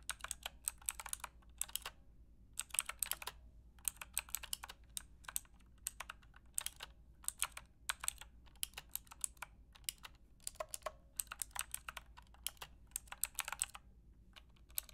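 Long painted nails and fingertips type on a full-size black Aukey mechanical keyboard with square plastic keycaps and a hollow plastic case, resting on a fluffy rug. Rapid, bright, clacky keystrokes come in bursts separated by brief pauses, each click short and sharp with almost no ring, over a faint low background hum.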